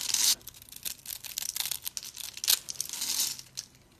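A thin metal blade cuts and scrapes cubes off a hand-held, rounded, white speckled block of dry, solid soap, held by a hand with long purple nails, and the crumbs fall onto a pile of soap pieces. The sound is dry, bright crunching and crackling with almost no low end, with louder bursts at the start, near the middle and toward the end, settling into quieter scraping at the close.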